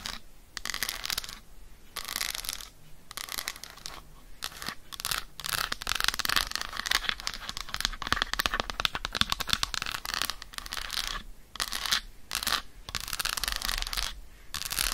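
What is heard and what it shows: Long acrylic nails tap and scratch quickly across the segmented surface of an unwrapped, solid, flat Lindt dark chocolate bar held in the hand over fur. The result is dense, bright, crisp clicking and scraping in rapid bursts, separated by short silent pauses.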